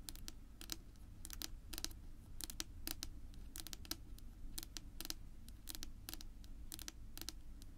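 Long natural nails of both hands rapidly tap a flat, solid dark wood-grain tabletop, making quick, bright, dry clicks that die away almost instantly. The taps come in uneven bursts and clusters over a steady low rumble.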